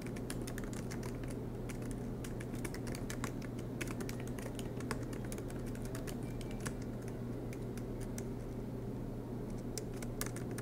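Fingertips of both hands type continuously on a silver MacBook Pro's black plastic low-profile keys set in an aluminum chassis. The result is a steady stream of quick, crisp, light clicks over a constant low hum.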